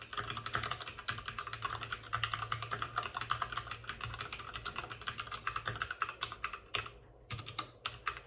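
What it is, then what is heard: Plastic mechanical keyboard. Both hands type rapidly with short-nailed fingertips on a white full-size plastic mechanical keyboard with plastic keycaps and RGB backlighting, set on a desk with a padded wrist rest. The result is a dense, bright stream of crisp clacking keystrokes over a faint low hum, with brief pauses near the end.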